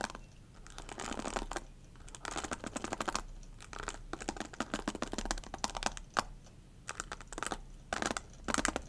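Long nails scratch and tap along the rows of bristles and the plastic handle of a black hairbrush held by its handle. Dense, bright crackling scratches come in bursts separated by quieter gaps, with occasional sharp ticking taps.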